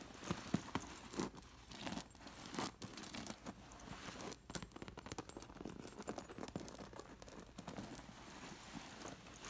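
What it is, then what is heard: Fabric pillow with metal sequin discs. Long blue nails scratch and brush across a soft fabric pillow covered in embroidery and many loose, sewn-on metal sequin discs. The discs jingle and click in dense, rapid bursts, with bright metallic ticks over a soft fabric rustle, swelling and fading throughout.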